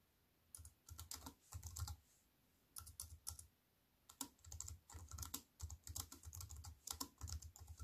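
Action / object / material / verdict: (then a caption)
tap / aluminium and plastic wireless keyboard / aluminium, plastic / none. Fast fingertip typing with long white nails on a slim aluminium and plastic wireless keyboard. Rapid bursts of soft, clicky keystrokes come in quick runs separated by brief pauses. Each press pairs a low, muted thump with a bright, crisp tick.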